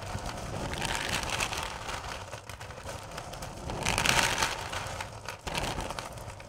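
Hands with long purple nails rake and scratch through a full bowl of small, solid candy corn pieces. The result is a steady, bright crackling rattle of candy shifting against candy, with a low rumble underneath. It swells loudest around the middle of the clip and then settles back.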